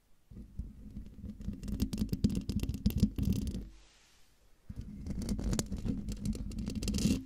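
Long dark nails of one hand scratch the hollow metal mesh grille of a silver Blue Yeti microphone. The result is rapid, irregular, rumbly scraping with a low hum near 207 Hz. It comes in two bursts separated by a brief quiet pause.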